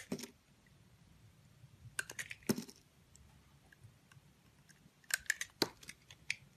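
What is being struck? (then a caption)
Bar of soap cut with a blade. A box cutter blade carves the edges of a solid pink soap bar, shaving off curled slices. Short, crisp, bright scraping clicks come in three bursts over a quiet background, each cut ending almost instantly.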